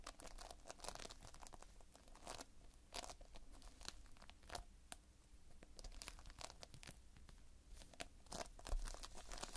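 Fingertips pinch and squeeze a multicolored mass of Playfoam, foam beads held in a sticky binder, close up. It makes quiet, dense, crunchy crackling and tearing, with bright, sharp bursts spread across the clip over a steady low rumble.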